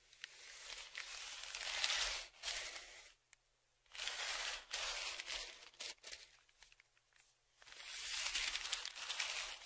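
A dark flat stick is dragged and scraped across the crinkled surface of a large brown kraft paper Amazon padded mailer lying flat. Bursts of bright, crackly scraping and crinkling rise and fade with short quiet gaps between strokes.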